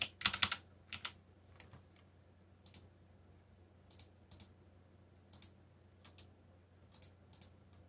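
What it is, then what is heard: Mechanical keyboard typing. Fingertips of one hand, one finger bandaged, type on a backlit mechanical computer keyboard with black plastic keycaps bearing Korean and English legends. Sixteen short, bright plastic clicks come in an uneven rhythm, a quick flurry at the start and then sparser pairs of strokes. Each stroke dies away almost at once over a faint, steady low hum.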